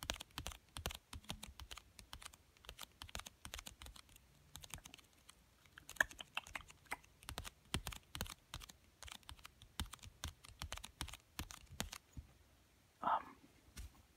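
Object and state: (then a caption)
Cardboard card game box tapped. Fingertips with dark-painted nails tap quickly and steadily on the top of a small, hollow, pink printed cardboard card game box resting on a fleece blanket. The taps are dry, light, clicky and very short, with a quiet, soft hollow body. Near the end there is a brief, louder scuffing burst as the hand lifts away, then a few last faint taps.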